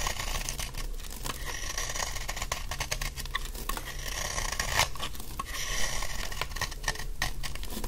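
A large, solid, dry yellow laundry soap bar is held in the hand and shaved with a utility knife blade in scraping strokes. The sound is a steady run of dry, crisp scrapes and crunchy crackles with bright, gritty detail over a low rumble. Crumbly flakes fall away as each stroke passes.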